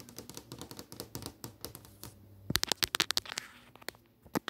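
Long nails tap and scratch with multiple fingers across the movie tiles on a flat glass touchscreen display, making dense, bright, clicky taps with almost no ring. Quieter scratchy tapping runs through the first half, then louder, sharper taps cluster in the middle before it thins out to a few final clicks.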